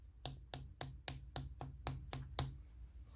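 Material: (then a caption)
Concrete. A living room wall is tapped by hand nine times in a steady series, each knock a short, hard, dull tap that dies away almost at once with no hollow ring. The sharp, solid sound shows the wall is solid concrete.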